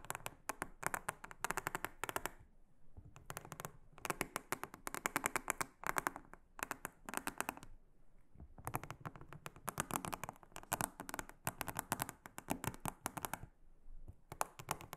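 A small silicone-headed brush scratches and rubs across the surface of a large, round, flat, solid blue silicone honeycomb trivet mat. It makes bursts of quick, dry, crackly scratching that reach into the high range, with short pauses between them.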